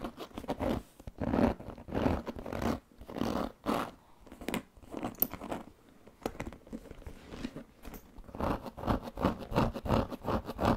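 Fingernails scratch the pebbled surface of a large black leather handbag with a metal buckle, held against the body. The result is a series of short, dry, raspy scratching bursts in an uneven rhythm, close and quiet, with brief pauses between strokes.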